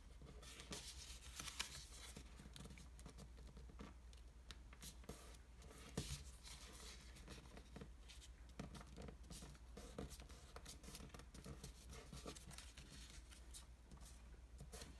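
Fingertips fold, press and rub the creases of a small folded square of thin black patterned Japanese washi paper resting on a wooden table. Quiet, continuous crinkling and soft scratchy rubbing fill the clip, with bright crackles and a few sharper crisp snaps over a steady low hum.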